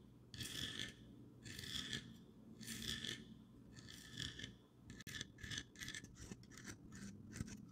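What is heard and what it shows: Long dark-painted nails scratch and rub a medium-sized, cream-colored ceramic squirrel figurine with a textured, speckled surface, probably hollow, held in the hands. Four slow, drawn-out bright rasping strokes are followed by a run of quicker, shorter scratches. Each stroke has a dry, gritty high hiss over a faint low rumble.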